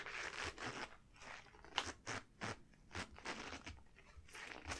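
Long glossy yellow rubber gloves worn on both hands are rubbed and wrung together with fingers interlaced. This produces a series of short, bright rubber squeaks and crinkly, crunching bursts separated by brief quieter gaps.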